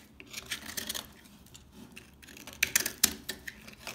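A utility knife blade repeatedly scores lines into the surface of a solid, dry household laundry soap bar held in the hands. It makes a series of short, crisp, bright scraping cuts at an uneven pace, with almost no low end and no ring after each stroke. The last few strokes, near the end, are the sharpest and loudest.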